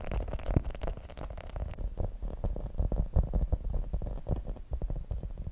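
Long nails scratch and tap the spikes of a grey rubber spiky massage ball held in both hands. The result is a dense, irregular stream of soft, dull, low thuds and muffled scraping that stops instantly after each touch.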